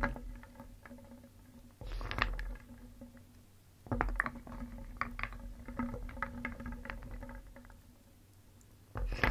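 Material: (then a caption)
Wood. A wooden spoon scoops through a round wooden bowl filled with small, solid painted wooden pieces, making them clatter and knock together. Louder bursts of rattling rise around the scoops, then settle into softer, scattered clicks over a steady low hum.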